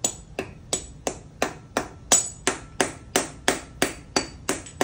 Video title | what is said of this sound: 7.3L Powerstroke injector install the RIGHT way | tap the Mallet until you hear the injector ping at the bottom of the head